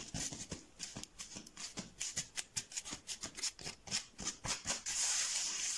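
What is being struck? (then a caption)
Textured foam mat. Fingertips tap and scratch across a large, flat, blue textured foam mat, making a quick, uneven run of around twenty soft, dry, bright taps with a crisp high-pitched edge. The taps end in a steady hissing scratch across the surface.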